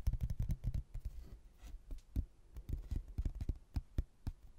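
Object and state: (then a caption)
Laminated hardboard placemat. A rigid laminated hardboard placemat, a solid thin board printed with a photo of a white building and a blue textured border, is held in both hands and tapped with the fingertips. It gives quick, dull, low thuds with almost no ring: a fast flurry at first, a brief lull, then more scattered taps.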